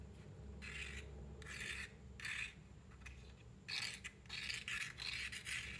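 The wooden tip of a matchstick is scratched across the striker side of a small, closed cardboard matchbox held in one hand. It makes a series of short, dry, bright rasping strokes, some slow and some quick and clustered, with little ring after each. A faint low hum runs underneath throughout.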